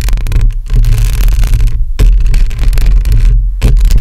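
Long acrylic nails on both hands scratch a hollow metal mesh microphone grille, producing loud, boomy, low-heavy scraping and rustling with a steady low hum. The scratching comes in continuous bursts separated by brief quieter gaps, with short faint crackles on top.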